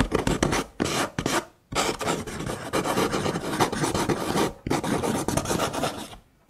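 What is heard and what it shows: Fingernails scratch the rims of a stack of nested brown kraft paper cups, making dense, dry rasping bursts with brief pauses between them. The scratching is bright and gritty with a soft low body. Near the end, some of the cups are slid apart and the sound fades to quiet.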